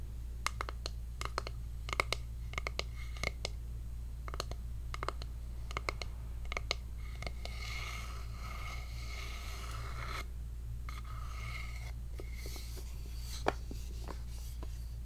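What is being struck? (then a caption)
Small wooden box. A small hollow wooden heart-shaped box is turned in the hands while long nails scratch and tap its flat top and sides. Sharp, quick-decaying clicks are scattered among bursts of bright scratching with a raspy tone near 2 kHz, over a steady low hum.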